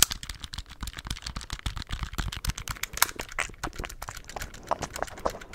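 Fingertips tap the keys of a handheld black plastic scientific calculator in a rapid, steady stream of short, dry clicks. Each tap is bright and crisp with almost no ring, over a faint low rumble.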